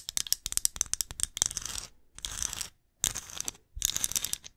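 Long nails tap and scratch a small, hollow, glossy ceramic pumpkin ornament with lettering as it is turned in the hands. A quick run of sharp, bright clicks is followed by bursts of dry, hissy scratching separated by short silences. The sound is thin and high, with almost no low end and no ring after each tap.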